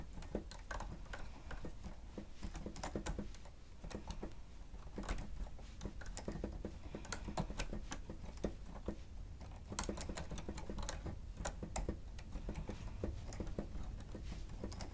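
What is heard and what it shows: Two hands type with their fingertips on the plastic keys of a stenotype machine keyboard. A steady stream of quick, sharp clicks and taps rises over a low, constant rumble, each tap dying away almost instantly.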